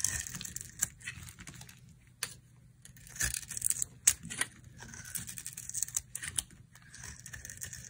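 A utility knife blade carves brittle chunks off a dry, hand-held soap bar with a yellow coating and a white interior. Bright, crisp scraping and crackling cuts come in uneven bursts with sharp snaps and short pauses, over a faint low hum.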